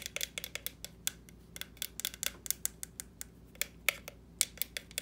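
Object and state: Plastic jack-o'-lantern.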